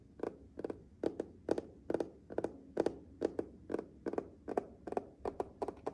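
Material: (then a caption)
Glass. Fingertips and nails of one hand tap and rub across the flat glass control panel of a matte black refrigerator's water and ice dispenser, which is fixed solidly in the door. Quiet, dry, clicking taps come mostly in quick pairs at an uneven pace, each dying away instantly with no ring.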